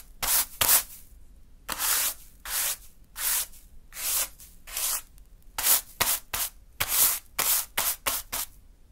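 A small natural-fiber hand broom sweeps across a small heap of fine pink sand on a dark surface, making 14 separate brushing strokes. Each stroke is a bright, airy, hissing rub that stops cleanly, with near silence between strokes.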